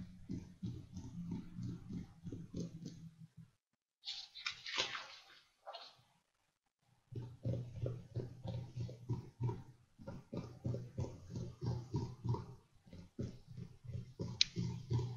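Fingertips tap and lightly scratch across the top page of a stack of printed paper sheets in an open ring binder lying flat on a desk. Rapid, soft, dull taps with a low thump run in a loose rhythm, broken by a brief pause and a brighter, papery scratch and rustle. The steady tapping then resumes.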